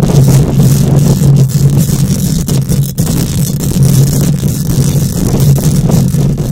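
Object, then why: Metal mesh microphone grille. Long nails scratch a hollow metal mesh microphone grille with both hands, giving a continuous, dense, rough scraping. The sound is dominated by a heavy low rumble with a steady hum and very little high content, and its loudness stays fairly even throughout.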